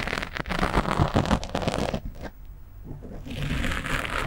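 A fingernail scratches the top and sides of a black foam windscreen on a microphone, using one hand, producing dense, rough crackling and scraping with a deep rumbling body. The scratching is loud and busy at first, eases into a softer, muffled stretch, then returns as a steadier, brighter rasp.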